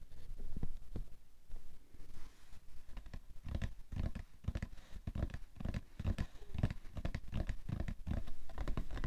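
Fingertips tap and fingernails scratch on the printed top of the same cardboard tissue box. Quick, dull, low thuds land in an irregular patter, mixed with brief dry scratching strokes, and each sound dies away almost instantly.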